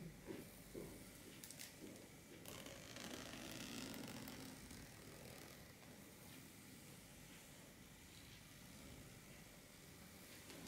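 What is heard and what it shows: Long black-painted nails scratch and rub the surface and edge of a flat, champagne-gold, shimmery metallic fabric clutch bag lying empty on a wooden table, possibly near the zipper. The result is a quiet, steady, broadband scratchy rustle and hiss, with brief bright scrapes layered over a low background rumble.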